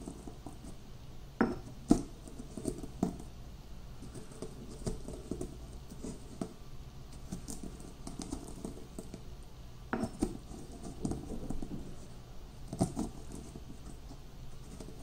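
Whole roasted peanuts are pounded and crushed with a granite pestle in a small, solid, speckled granite mortar about half full, while the other hand steadies the bowl. Soft, low, pattering crunches of cracking peanuts run throughout, broken by occasional sharper, dry stone-on-stone knocks that die away almost instantly.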